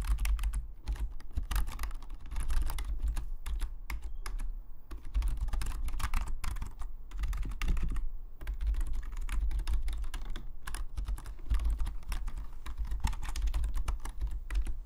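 Fingertips of both hands type steadily on a full-size black Logitech membrane keyboard with plastic keycaps lying flat on a desk. Soft, rapid clicks and taps come in continuous bursts with brief pauses, over a steady low hum.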